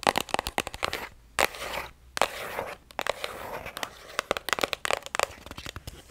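Long acrylic nails tap and scratch along the flat printed face of a strawberry plastic cream tube held sideways. Quick, sharp clicky taps come in bursts, broken by short stretches of bright, dry scratching and crinkling with almost no low end and no ring.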